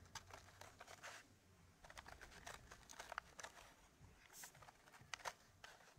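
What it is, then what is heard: Wooden puzzle tray. Fingertips and short nails tap and scratch across the grooved surface of a square, flat, solid wooden puzzle tray, laser-cut in a Gosper-curve pattern of fitted wooden pieces and tilted up at one edge. Quiet, dry, bright clicks and scratchy rustles come in irregular bursts, each dying away at once with no ring.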